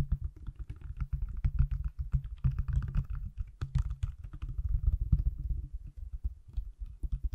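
A hand-sized pale green silicone/plastic case on an iPhone, held close to the mic, is tapped rapidly on its back and edges with fingertips and nails. The result is a steady patter of dull, low, muffled taps that stop almost instantly, with occasional sharper, brighter clicks from the nails.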